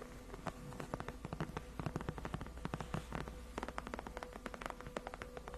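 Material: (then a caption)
Faux leather. Long acrylic nails rapidly tap and scratch on the backrest of a large white padded faux-leather (PU) gaming chair, solid and cushioned. The result is a fast, dense run of soft, dull, closely spaced taps with brief scratching between them, over a low steady hum.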